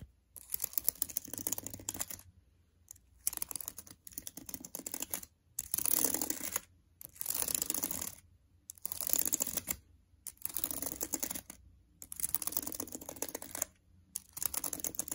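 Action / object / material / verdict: tap / laptop keyboard plastic keys / plastic / none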